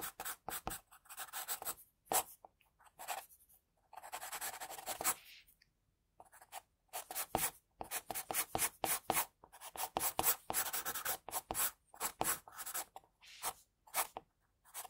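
An HB wooden pencil sketches hair strokes on a white drawing paper sheet, its graphite scratching across the paper. Quick, bright, dry scratching strokes come in rapid bursts, separated by short silent pauses, with almost no low end.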